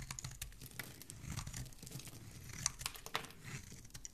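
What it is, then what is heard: Bar of soap being carved. A solid green bar of soap, held in the fingers, is carved with a dark metal blade that scrapes along it and peels off strips of soap. The result is a steady, crinkly, tearing scrape with bright crackles and a few sharper clicks over a soft low rumble.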